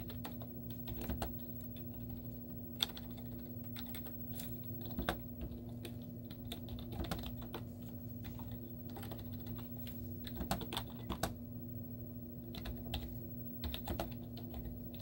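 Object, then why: Plastic laptop keyboard. Long teal-painted nails and fingertips type rapid taps on a white plastic laptop keyboard with hollow keys and cartoon stickers on them. Quiet, short, clicky taps come in irregular bursts over a steady low hum, with a few louder clacks standing out.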